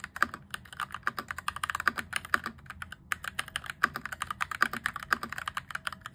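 Fingertips type rapidly on a cheap RGB-backlit plastic mechanical keyboard with cream and grey plastic keycaps and an orange plastic frame, modded from clicky toward a thockier sound. A dense stream of short, crisp clacks is heard, centered in the upper mids with little low-end weight. Each keystroke decays almost instantly.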